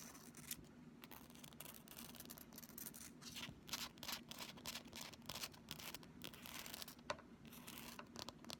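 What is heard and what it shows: A pink, thin, solid flexible plastic ruler about 30 cm long is held in both hands and scratched along its surface and edge with long fingernails. The result is a quiet, bright run of scratching with many short, dry strokes and sharper ticks over a steady low hum.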